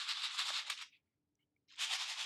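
A newly assembled paper shaker card with loose sprinkles inside is shaken, giving two bright, hissy bursts of rattling separated by a short silence. The sprinkles move freely and stay sealed inside, so the card works as intended.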